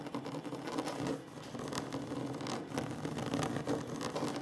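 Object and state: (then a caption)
Wooden table. Short nails and fingertips of both hands tap and scratch quickly on a solid, flat wooden tabletop. The result is a dense, continuous patter of soft, woody taps mixed with dry scratching, with a steady midrange body and little bright content. The level holds fairly even apart from a brief dip near the start.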